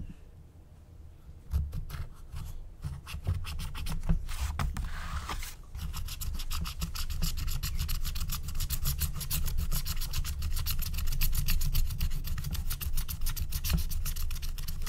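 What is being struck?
Wax-coated scratch-art card scratched with a wooden stylus.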